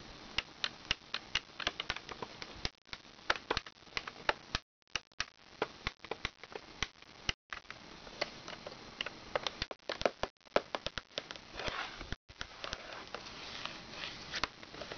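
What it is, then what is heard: Plastic toy activity book tapped with fingernails. Long red-painted nails tap on the laminated pages and hollow plastic edge of a large plastic children's talking activity book lying open. Dozens of quick, dry, bright clicks sound over a soft scratchy rustle, each dying away almost instantly, with a few brief silent gaps between bursts.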